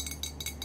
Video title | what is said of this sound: ASMR * Tapping Around Our Room * Fast Tapping & Scratching * Soft Spoken * ASMRVilla | This is a mason jar that I spray painted a matte white,